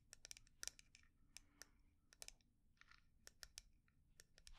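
Long nails tap and scratch the surface of a small, round, hollow, dark lacquered wooden jar with inlaid flower dots and its lid closed. A quick, irregular series of sharp, bright, dry clicks comes through with almost no ring, separated by soft, high scratchy rustling, all at a quiet level.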